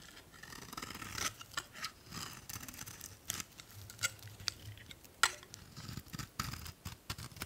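A metal utility blade scrapes and cuts through an old, solid beige bar of soap named "Spring" in repeated strokes. Each stroke gives a dry, crisp scrape with bright, sharp clicks and a faint low rumble underneath. The sounds are quiet and close, with only a very brief ring after each cut.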